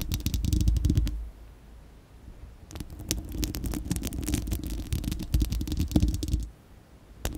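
Long acrylic nails of both hands scratch a bare, hollow, fist-sized spherical steel wire-mesh microphone grille. The result is rapid, irregular bursts of crackly scratching over a heavy low rumble, with a hum near 300 Hz and sharp bright ticks. The sound eases off into a quieter stretch, returns dense, and fades again near the end before a final flick.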